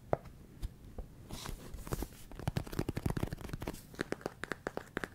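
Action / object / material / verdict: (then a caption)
tap / plastic food container filled with rice / plastic / none. Fingertips and nails tap and scratch the sides of a large clear plastic food storage container with a lid, filled with small rice-like grains. Quick, dry, sharp taps come in an uneven series, with soft scratchy rustling and faint grainy crunch between them. Each tap dies away almost instantly and stays quiet overall.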